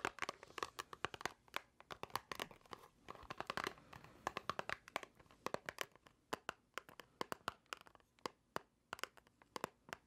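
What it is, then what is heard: Cardboard box tapped and scratched with nails. A small white cardboard box, likely empty and hollow, is held in both hands and tapped and scratched with long acrylic nails. Dozens of quick, dry clicks with a hollow tone around 1.1 kHz and bright edges mix with soft, papery scratching runs, and each tap dies away almost at once.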